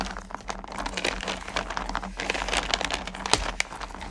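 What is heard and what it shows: Fingertips and long nails scoop and stir small solid candy corn pumpkins in a full purple plastic bucket. The candies give a dense, bright rattle of quick clicks and crunchy shuffling that shifts and swells as they are stirred, over a faint steady low hum.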